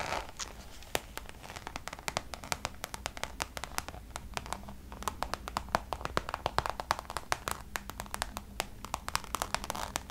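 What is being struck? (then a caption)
Coated canvas pouch. Long nails tap rapidly on the surface of a Damier checkered coated canvas Louis Vuitton pouch held close. The taps are short, crisp clicks with bright highs, strung irregularly over a quiet, steady low hum.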